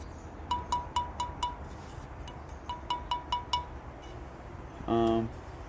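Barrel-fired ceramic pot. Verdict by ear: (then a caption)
Sound. A barrel-fired ceramic pot with one small nick on its rim is flicked in two runs of five, each flick giving a short, bright ring near 980 Hz that dies quickly. The pot still rings and is a pretty clean pot apart from the nick. A brief, steady low tone with stacked harmonics follows at the end.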